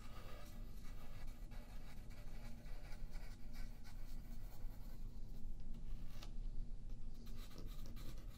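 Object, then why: Graphite pencil on a paper sheet. A yellow graphite pencil rubs and scratches in slow strokes across a thin sheet of white paper lying flat on a wooden table, held down by the left hand. The sound is a soft, steady scratching with a quiet, low, rumbling base throughout.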